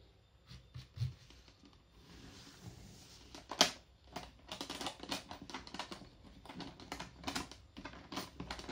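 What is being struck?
Aluminum-framed carry case.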